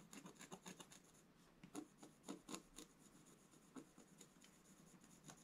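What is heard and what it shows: A wooden scratch stylus makes fast, dense scratching strokes across a black-coated scratch-art page in a book lying flat on a table, a solid sheet. The result is a quiet run of dry, raspy scrapes with a bright hiss, with a short lull in the middle, as the strokes remove the coating.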